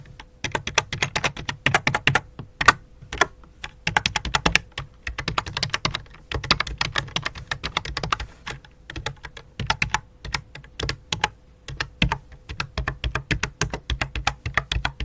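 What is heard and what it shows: Fingertips with long dark nails type on the letter keys and numeric keypad of a full-size white and light-blue plastic computer keyboard resting on black cloth. The result is a steady stream of quick, sharp, bright key taps with brief pauses, each click dying away almost instantly.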